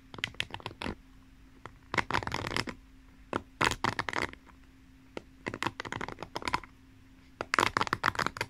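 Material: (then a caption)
Plastic. Long painted nails scratch across the tips of the plastic pin bristles set in the cushion of a pink paddle hairbrush held horizontally. Bursts of rapid, crisp clicking and scratching sweep through the bright highs, separated by short quiet gaps, over a faint steady low hum.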